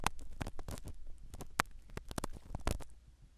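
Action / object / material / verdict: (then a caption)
scrape / foam microphone cover in a silicone ear, scratched by a spiral ear pick / foam / none. A black spiral ear pick scratches the small black foam cover of a microphone set inside a silicone dummy ear. The result is a quick run of close, dry scratching and rustling bursts with a soft low rumble. The scratching thins out toward the end.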